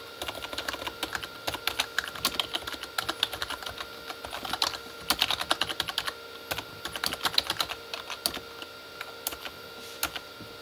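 Both hands type with their fingertips on a full-size, hollow Corsair K35 backlit keyboard with plastic keycaps on a plastic body. The result is a quick, steady stream of short, bright, clacky taps with no ring, over a faint steady tone.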